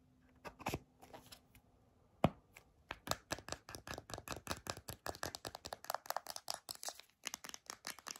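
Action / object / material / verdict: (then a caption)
tap / plastic deodorant stick / plastic / none. Long nails rub and tap a white plastic deodorant stick, starting with a few scattered clicks and one sharp, louder tap. This builds into a quick, steady run of dry, bright plastic taps and scratches that stop short with almost no ring.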